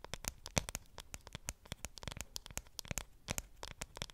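Long nails tap and scratch the aluminum back of a dark grey iPhone 7 Plus held close to the microphone. The result is a quick, irregular run of short, dry clicks and light scratches with bright high edges and a soft low thump under each one, and almost no ring after any tap.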